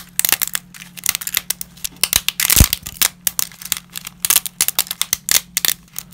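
Black-gloved hands crush and snap dry, brittle pieces of lasagna pasta sheets over a pile of pasta fragments. Bright, dry cracks and crinkling snaps come in quick, irregular bursts, with a denser crunch in the middle and a faint low hum underneath.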